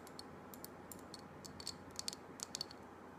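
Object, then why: Small glass candle jar with glass lid. A small glass jar candle with a glass lid, filled with solid pale green wax and bearing a paper label, is held in hand and tapped and clicked with long black acrylic nails on its glass sides and lid. Thirteen quiet, sharp, bright clicks sound in an irregular pattern, each dying away almost instantly over a steady low hiss.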